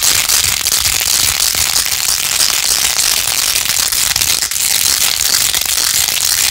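Long nails scratch fast over a plastic phone case covered in pink faux-pearl beads, held in both hands. The result is a dense, steady, bright crackling and clicking texture with almost no low end, continuing evenly throughout.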